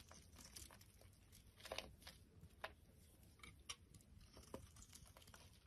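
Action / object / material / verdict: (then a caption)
scrape / bar of soap / soap / none. A utility knife blade shaves curls and strips off a solid, oval, orange bar of soap with a ribbed, pumpkin-like shape, held in the hand. The clip is a quiet run of soft, crinkly scraping and crunching, punctuated by short, sharp, bright ticks as the blade bites in and lifts each shaving.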